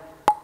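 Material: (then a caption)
Wood. A table tennis ball strikes a light, fast wooden blade with synthetic fibers, the Darko Jorgic Dynamic JC, giving a single sharp, hollow knock with a brief tonal ring around 840 Hz. The blade sounds very hollow and vibrates strongly, unlike a Shang Kun AC blade, an unusual sound that takes getting used to but gives more ball feedback.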